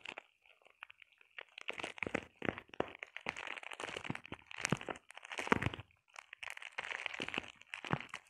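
Long painted nails scratch and tap across a flat sheet of clear plastic bubble wrap. Quiet, dry crinkling and crunchy scratches come in quick bursts with short pauses, each sound bright and dying away almost at once.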